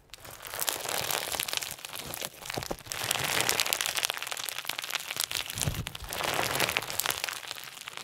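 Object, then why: Clear slime with plastic sequins. Clear slime filled with pink and white plastic sequins is stretched wide, then squeezed with the fingers. This gives a dense, crunchy crinkling and crackling that stays mostly bright and high. The sound swells and eases in several waves over about eight seconds.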